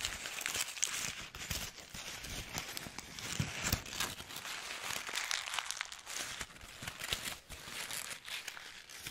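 A wrinkled, handwritten white paper sheet is crumpled and squeezed in both hands with the fingertips. It makes a steady stream of dense, bright crinkling and crackling with sharp snaps and little low end, rising and falling in loudness throughout.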